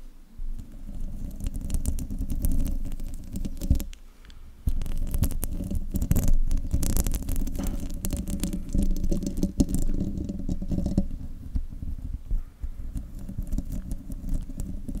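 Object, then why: Metal microphone mesh grille. Long nails scratch and tap the hollow metal mesh grille of a silver desktop microphone, producing a dense, rumbling, low-heavy scraping with quick tapping textures. The sound runs almost continuously, drops out briefly around the four-second mark, then resumes at a steady, muffled intensity.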